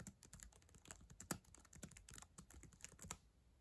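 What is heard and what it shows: Long acrylic nails type rapidly on the plastic keys of a black ThinkPad laptop keyboard. The result is a quick, uneven stream of short, dry clicks and taps with bright, sharp edges, ending with one louder click before fading out.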